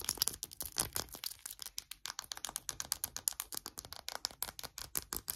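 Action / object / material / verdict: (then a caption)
scrape / faceted cut glass perfume bottle / glass / none. Short nails rapidly scratch and tap over the textured facets of a small hollow perfume bottle made of faceted diamond-pattern glass, filled with golden liquid and topped with a gold cap. A fast, steady stream of crisp, bright clicks and scratchy rattles follows, each dying away almost instantly, with very little low end.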